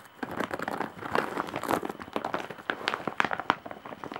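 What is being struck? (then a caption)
Woven straw bag with embroidery. Long nails scratch the surface of a large woven straw or jute bag with embroidery, producing a dense run of dry, crackling scrapes and short clicks. The sound sits mostly in the midrange with very little low end, and each brief crackle stops almost instantly without ringing.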